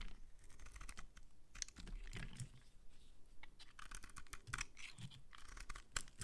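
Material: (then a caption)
Soap. A metal utility-knife blade scrapes across a palm-sized solid pink bar of soap held in one hand, shaving curls off its surface. Quiet, rapid scratchy strokes with brief bright crackles overlap as a continuous rasping texture over a low rumble.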